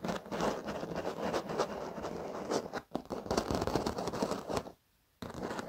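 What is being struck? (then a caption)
Padded leather office chair. Short fingernails of both hands scratch and tap across the black padded leather surface of an office chair, making a dense, rustling scratch with soft taps over it. The sound runs nearly continuously, dips briefly near the three-second mark, and goes silent for a moment before the scratching resumes.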